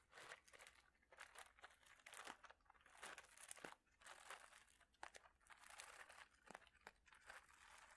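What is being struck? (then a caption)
Plastic bag holding small ceramic or glass mosaic tiles. A clear plastic bag holding small ceramic or glass mosaic tiles is squeezed and crinkled with fingertips and nails. Dense, bright crinkling comes in rapid bursts, with crisp clicks and crunches from the tiles shifting inside the bag, all quiet and close.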